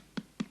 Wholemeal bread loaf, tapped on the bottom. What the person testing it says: if you hear a good Hollow sound that means it's ready